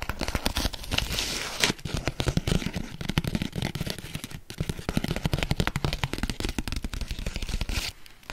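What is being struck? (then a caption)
Kraft paper packaging sleeve. Long acrylic nails scratch and tap the surface of a flat brown kraft paper packaging sleeve with orange zigzag stitching, held up close. The result is a dense run of quick, dry taps and scratchy paper crinkles with a low thumpy body and crisp high rustle. There is a brief dip around the middle, and it thins out near the end.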